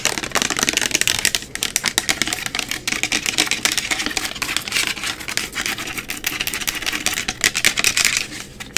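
A 500 mL white translucent plastic bottle of isopropyl rubbing alcohol, hollow and apparently holding liquid, is held in both hands and tapped and scratched quickly with long acrylic nails. The result is a dense, fast stream of sharp, dry clicks and scrapes, bright and hollow-sounding with almost no low end. Each tap dies away almost instantly.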